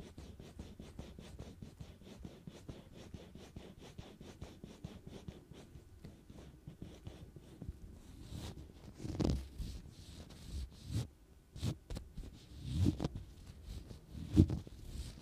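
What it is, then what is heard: Metal microphone grille. A black-gloved hand grips the hollow metal mesh grille on top of a black Blue Yeti USB microphone and scratches and rubs it with the fingertips. Quick, steady, low scratching ticks run for about eight seconds, then give way to slower, louder rubbing swells and dull thumps.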